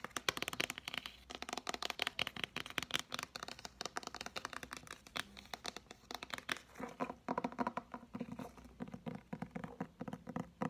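Short-to-medium fingernails and fingertips tap and scratch the cardboard cover of an Oxford English-Greek Learner's Dictionary, a thick, solid hardcover book with paper pages held upright in both hands. The result is a quiet, steady stream of rapid, dry, bright clicks and crinkly scratches. Each tap dies away almost instantly with no ring.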